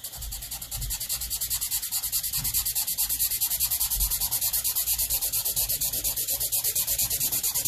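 A black Sharpie felt-tip marker, held in the fingertips, scribbles dense back-and-forth strokes across a large white paper sheet lying flat on a board. The tip makes a bright, scratchy rubbing hiss in a steady rhythm of around sixty quick strokes. It starts a little softer in the first second, then holds an even level to the end.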